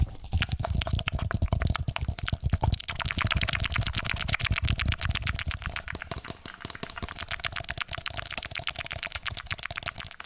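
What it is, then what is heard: Hollow plastic traffic cone. Fingertips rapidly tap and scratch the square base and inner rim of a small orange hollow plastic traffic cone, which is held upside down with its open base facing close to the mic. The result is a dense, continuous run of sharp, dry clicks with almost no ring. The clicks are bright on top and carry a deep hollow thump underneath.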